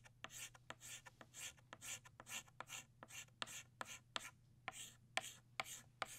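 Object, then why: Chalk stick on a chalkboard. An orange chalk stick shades back and forth on a flat black chalkboard to fill a small circle. It makes quick, uneven, bright scratchy strokes with sharp clicks as the chalk meets the board. A faint steady low hum sits underneath.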